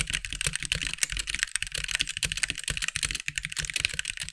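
Fingertips of both hands type steadily on a compact backlit mechanical keyboard with white plastic keycaps. The result is a dense, continuous run of sharp, bright plastic clicks and clacks with very short decay, over a faint low thump beneath each keystroke.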